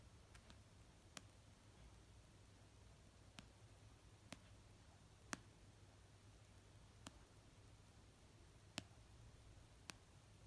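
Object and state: Paperback book.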